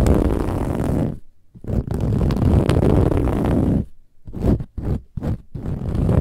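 Long nails scratch fast across a large, soft, filled pillow with a silver-gold textured metallic woven fabric cover. The result is a dense, rumbling, low-heavy scraping in two long continuous stretches, followed by a run of shorter bursts separated by brief silences.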